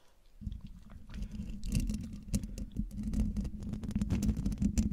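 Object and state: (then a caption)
Metal mesh microphone grille being scratched. Long, dark-polished nails scratch the hollow woven metal mesh grille of a silver USB condenser microphone. After a quiet first half second, a close, heavy rumbling scrape sets in, with a steady low hum and dense crackling ticks. Occasional bright, sharp scratches cut through and grow louder toward the end.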